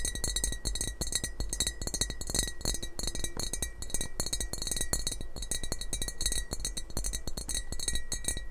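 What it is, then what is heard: Ceramic mug tapped with nails. Fingernails tap rapidly on the glazed surface of a hollow, apparently empty yellow heart-eyes emoji ceramic mug held close to the microphone. The result is a dense stream of short, bright clinks with a thin high ring and a steady low rumble underneath.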